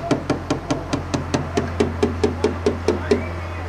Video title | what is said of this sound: basic&tpye rating training video | A solid sound means no damination has taken place. A soft sound indicates a damaged area.